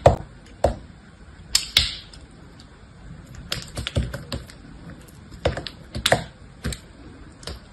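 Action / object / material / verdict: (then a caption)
scrape / bar soap cut with a small knife / soap / none. A small, solid cream-yellow cube of semi-hard bar soap is held in the fingertips of a hand with purple nails while a small knife blade cuts and shaves thin slices off it, the shavings falling below. The result is a series of crisp, bright carving and scraping clicks with short, dry decays and quieter scraping between them.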